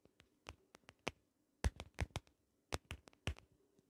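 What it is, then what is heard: Vinyl-covered shell compact case tapped with nails. Long nails tap and scratch over the ridged surface of a small, closed, hollow shell-shaped compact case covered in holographic vinyl. About fourteen quiet, dry taps come in loose, irregular clusters, each a short bright click over a soft low thump that dies away almost instantly.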